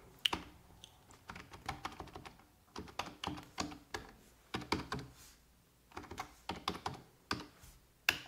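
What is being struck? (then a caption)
Plastic computer keyboard. Fingertips with red-painted nails type on a full-size black plastic computer keyboard resting on a wooden desk. Quick, bright, clicky key taps come in uneven bursts separated by short pauses. Each tap is dry and dies away almost at once.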